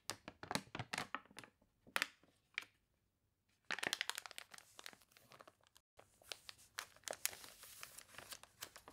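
A page of a thick, glossy paper toy catalog with water-crinkled pages is turned, then fingertips and nails rub across the spread. Sharp, bright crinkles and crunches come in quick bursts, pause briefly, then return as denser, continuous rustling and scratching.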